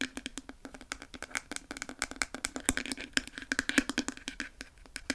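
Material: Plastic.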